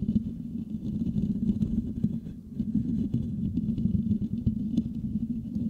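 The metal mesh grille of a Blue Yeti microphone is scratched with the fingertips and nails of both hands. It makes a dense, continuous, low rumbling scratch with a steady hum-like tone around 220 Hz and faint high crackles. The scratching briefly softens just past two seconds, then resumes at full strength.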